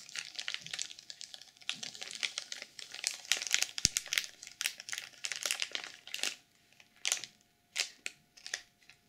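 Long purple nails scratch and press the cover of a black sequin journal sealed in clear plastic film. Dense, bright crinkling and scratching fills the first six seconds, then thins into a few separate crinkly bursts with short pauses between them.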